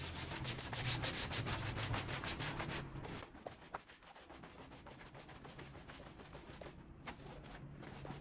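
A small, soapy, bear-shaped pile rug is scrubbed vigorously with a green push broom, producing fast, rhythmic, bristly swishing strokes. The scrubbing is loud and steady for about three seconds, then drops to a quieter, wetter rubbing with a few sharp clicks.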